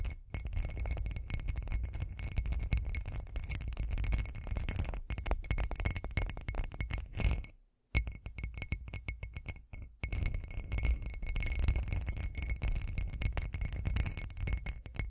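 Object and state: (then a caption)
Textured glass cup tapped with fingernails. Long acrylic nails tap rapidly and continuously on a hand-sized, hollow, textured glitter glass cup held in both hands. The result is a dense stream of short, dry clinks over a heavy low rumble, with faint steady bright tones. The tapping stops briefly near the middle before resuming.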